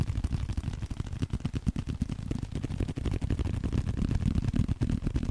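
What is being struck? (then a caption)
Leather card wallet. Fingernails and fingertips scratch and tap on a small, flat, blue leather card holder. The result is a steady, irregular stream of quick, soft, muffled taps and brushing scratches, mostly low and dull with almost no bright high end.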